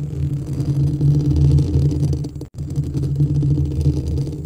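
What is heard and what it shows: Both hands scratch the hollow, perforated white metal mesh grille of a white studio microphone with short nails and fingertips. The result is a dense, continuous low rumbling scrape with a steady hum-like tone, broken by a brief moment of silence midway before the scratching resumes.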